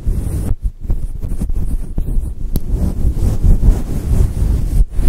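A grey and white fluffy faux fur microphone windscreen is scratched with long nails. The result is a dense, muffled rumble of low-frequency rustling with brief dips between strokes.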